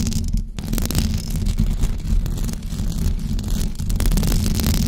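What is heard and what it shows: Long blue acrylic nails scratch a white knitted fabric cover stretched over a rounded microphone head. The result is a continuous, dense rumbling scrape that is heavy in the low end, with faint bright crackles over the top and a brief dip in the noise near the start.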